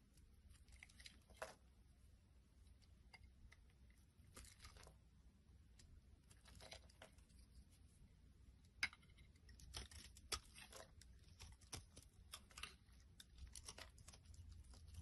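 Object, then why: Soap bar scraped with a blade. A solid green striped soap bar is held in the hand and scraped with a blade, with shavings piling up. Quiet, irregular strokes give soft, bright crunching and crinkling scrapes over a low, steady background hum, with a few sharper snaps standing out.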